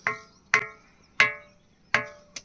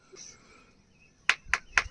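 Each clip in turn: First: hollow-sounding ringing rock. Second: solid ordinary stone.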